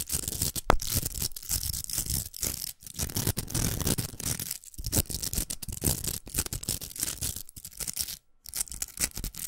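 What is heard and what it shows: Long nails scratch the outer velcro of a large, hollow pink plastic velcro hair roller. The result is a dense run of rough, crackling rasps with a bright hiss over a low rumble, broken by a few brief silent gaps.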